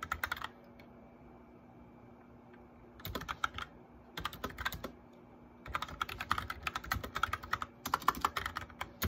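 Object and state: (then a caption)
Plastic mechanical keyboard. Fingertips of both hands type on a white plastic mechanical keyboard with backlit keys, producing short, crisp, bright clacks in quick bursts. The bursts are separated by pauses, with a brief flurry at the start and a longer, steady run of keystrokes toward the end. A faint steady low hum sits underneath.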